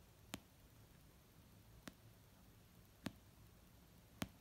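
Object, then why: Paperback book, paper. Fingernail tips and fingertips slowly tap an orange paperback novel of solid paper resting on a fluffy blanket, with fingers spread. Four soft, dry taps come at uneven intervals, each a brief bright click over a low muted thud around 210 Hz that dies away almost instantly. Near-silence fills the gaps between the taps.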